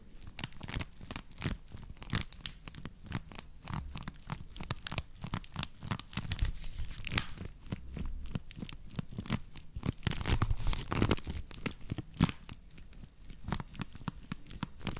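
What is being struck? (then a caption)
Woven straw plate. A woven natural-fiber straw plate is held in one hand while the long nails of the other hand scratch and tap across its coiled weave. The result is a dense, continuous stream of dry crackling scratches and sharp, bright clicks with very short decay, over a soft low rumble.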